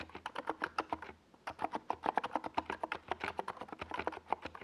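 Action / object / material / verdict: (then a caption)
tap / plastic mechanical keyboard / plastic / none. Fingertips of both hands type fast on a NiZ Plum Atom 68, a compact 68-key mechanical keyboard with a white plastic case and purple and yellow Domikey Gas Attack SA plastic keycaps, resting on a desk pad. About 31 quick, dry plastic clacks centered in the midrange come in rapid bursts, with a brief pause near the one-second mark. Each keystroke dies away almost instantly.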